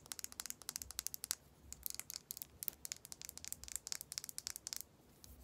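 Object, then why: Plastic lip gloss tube. Long acrylic nails tap and scratch along a slim, hollow, matte dark-red plastic lip gloss tube with a clear base, likely filled with product. About thirty quick, bright, dry clicks and crackles come in irregular bursts with almost no ring. A brief pause falls near the middle, and the sounds stop just before the end, leaving quiet background.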